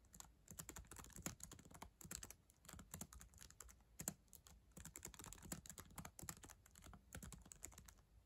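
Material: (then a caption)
Plastic. Long acrylic nails and fingertips type on the plastic keys of a solid black ThinkPad laptop keyboard. Rapid, uneven bursts of short, crisp clicks and taps follow one another with a bright tick and a low thud in each stroke. Brief pauses fall between the flurries.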